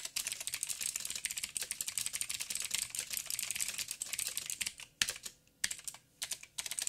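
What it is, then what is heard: Plastic mechanical keyboard with clicky switches. Fingertips of both hands type on a backlit 87-key mechanical keyboard with plastic keycaps and clicky blue switches. Rapid, bright, sharp clicks run steadily for about five seconds. The typing then slows to a few separate keystrokes with short quiet gaps between them.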